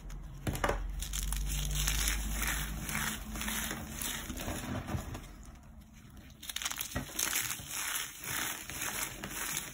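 Fingertips with long painted nails squeeze and crush a pile of dried cornstarch blocks, solid, brittle and chalky, resting on a marble surface, until the pieces crumble into powder. The result is a steady run of dry, bright crunching and crackling with a low rumble underneath, broken by a few sharper snaps near the end.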